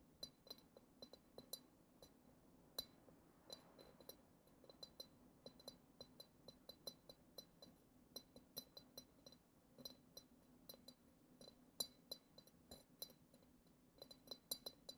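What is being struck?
Glass goblet.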